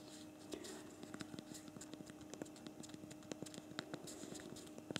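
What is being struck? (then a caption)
Plastic smartphone physical keyboard. Rapid thumb typing on the backlit physical plastic keyboard of a BlackBerry Priv smartphone, producing a quick, uneven stream of short, dry key clicks with a bright edge. The clicks sit over a faint steady hum and die away instantly.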